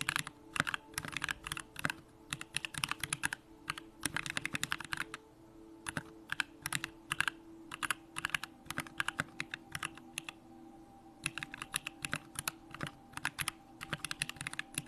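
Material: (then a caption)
Aluminium, plastic. A 65% Bakeneko65 mechanical keyboard with Durock lavender switches, pink plastic keycaps and a hollow aluminum case is typed on with the fingertips in continuous key presses. Quick, bright clacks come in dense bursts separated by short pauses, each press dying away almost instantly over a faint, steady low tone.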